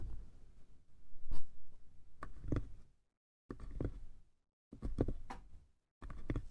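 Fingertips and nails tap the sides of a small hollow wooden box with a brass clasp. Soft, dull, low thuds and light clicks come in four short bursts separated by brief silences. Each tap dies away almost at once.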